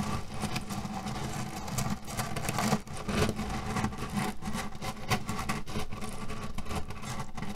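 Both hands press and rub a flat cotton cushion printed with cherries and filled with loose cherry pits, working it with fingertips and nails as it lies on a table. A steady, low, muffled rustling rumble carries dense, short clicks and crunches of shifting pits, with a few brief louder crunches.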